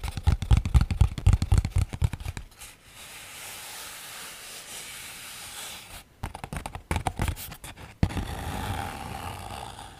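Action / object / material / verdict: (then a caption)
scrape / thin paper sheet / paper / none. Fingertips with medium-length nails scratch and rub a single large sheet of thin white paper, curled and held in one hand near a pink foam-covered microphone. Quick, crinkly scratching strokes come first, then give way to a soft, steady rubbing hiss. A second burst of scratches follows before a smoother, continuous rub carries to the end.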